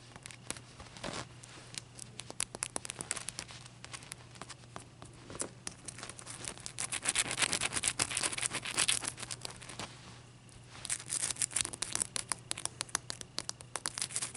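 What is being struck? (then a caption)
Large clear ice block. Long dark-painted nails tap and scratch the faces of a single large, solid, clear ice cube held on a white towel. A dense stream of bright, sharp clicks and crackly scraping plays over a steady low hum. It swells loudest in the middle, dips briefly, then picks up again.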